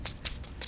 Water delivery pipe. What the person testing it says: if you tap on a pipe like this, so I can hear that that is full of water